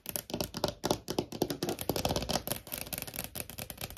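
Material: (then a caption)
Laminate. Long nails tap fast with both hands on a large, solid desk top with a wood-grain laminate surface. The result is an uneven run of dry, crisp clicks with bright edges and short hollow knocks around 350 Hz, each dying away almost at once.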